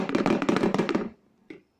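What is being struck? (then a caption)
Box containing a hard plastic ball. A hard plastic ball is put inside a box with the lid closed, and the box is shaken, making a quick run of rattling knocks as the ball bounces against the walls for about a second. A single louder knock follows after a short pause. The sound is noticeably different from the other objects shaken in the box.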